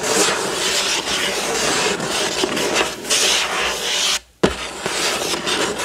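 Fingertips and nails of one hand scratch the front of a hollow, printed cardboard building-block box lying flat. The result is a steady, bright, papery rasp that stops briefly near the end, then resumes with a sharp scrape and continues.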